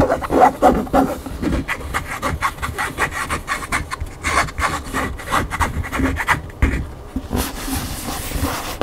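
Fingers and nails scratch and rub the glossy back cover of a large hardcover cookbook standing upright, then scratch along the edge of its front cover. Rapid, uneven dry scraping strokes repeat throughout with no ringing. They end in a steadier, brighter rasp.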